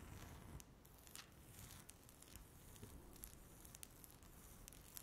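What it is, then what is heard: Laminate tabletop scratched with nails. Long natural nails scratch across a flat, solid speckled laminate tabletop. The result is a quiet, continuous dry rasping with a faint low rumble, dotted with brief bright ticks and scrapes that stop short with no ring.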